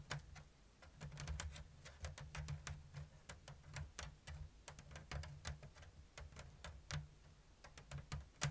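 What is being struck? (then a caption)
Woven bamboo lattice basket. Long blue nails tap and scratch the thin strips of a round, hollow woven bamboo lattice basket with an open diamond weave. A steady stream of sharp, dry, bright ticks at a slow-to-medium, uneven pace rides over a constant low hum. Each tick dies away almost instantly.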